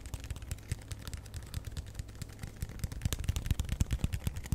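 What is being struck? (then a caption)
Paper coffee cup. A small, hollow paper coffee cup with a chevron pattern, apparently empty, is held in one hand close to the microphone and tapped and scratched with the fingertips. The result is a rapid, irregular stream of soft, dull taps with a low, boomy body and brief bright clicks, mixed with light scratching. The taps grow louder and more pronounced in the second half.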